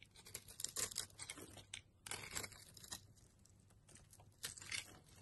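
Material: Soap.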